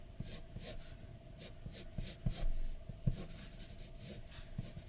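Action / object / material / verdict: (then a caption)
scrape / graphite pencil on a paper drawing sheet / paper / none. A graphite pencil scratches short strokes on a flat white paper sheet resting on a dark desk, with the hand resting on the paper. About six soft, bright scratching bursts sound over a low, quiet rumble.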